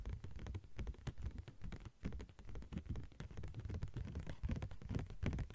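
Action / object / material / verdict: tap / thin translucent plastic sheet / plastic / none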